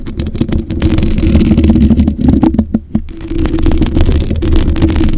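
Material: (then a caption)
Metal. Long acrylic nails scratch and tap across the black metal mesh grille of a condenser microphone's hollow head. The result is a dense, boomy, low rumbling scrape with a steady stream of short clicks and taps. It dips briefly to a few sharper isolated taps near the middle before the continuous scratching resumes.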